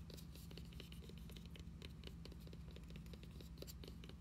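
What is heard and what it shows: Long acrylic nails tap and scratch along the cloth-covered spine and edge of a closed red hardcover journal, a solid stack of pages angled on a wooden table. Quick, uneven clicks with bright high-frequency flecks ride over a steady low hum, each tap dying away almost at once.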